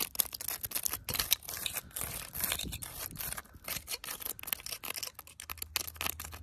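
Long, pointed fake nails made of wooden sticks, attached to the fingers, scratch and tap a living tree trunk outdoors with solid wood and rough, cracked bark. The result is a dense run of bright, scratchy rasps and quick dry taps that stop short, mostly high-pitched with little low end.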